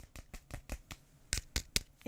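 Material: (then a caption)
Aluminum. Knuckles knock on the aluminum case of a reMarkable 2 tablet, producing a series of short, dry taps with almost no ring, the last few louder and brighter. The knocks sound like plastic, but the case is actually aluminum, as can be seen and felt from its coolness in the hand.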